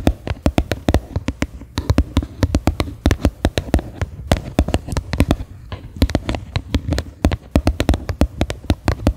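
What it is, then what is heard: Plastic bowl tapped with fingernails. Fingernails tap rapidly and irregularly on the flat bottom of a medium faceted white plastic bowl, which sits upside down, hollow and empty. Each tap is a sharp click with a short, hollow, low thump that dies away almost at once.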